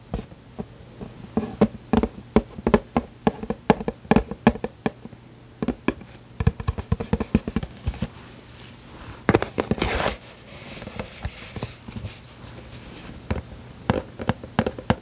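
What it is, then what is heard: Cardboard tissue box. Long pink nails tap and scratch a small, cube-shaped printed cardboard tissue box with a floral and teddy bear design, hollow and partly full of tissues sticking out the top. Quick, dry, hollow taps with a low body come in irregular bursts. A longer bright scratching stretch runs near the middle before the tapping resumes.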